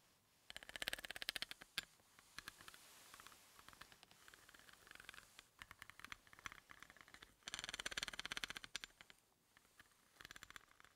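The tip of a wooden pencil taps and rattles along the threads of a large, solid threaded steel hex bolt lying on a dark surface. Quiet, rapid, bright clicking comes in dense bursts with softer scraping between them, centred around 3 kHz with almost no low end. Each click dies away almost instantly.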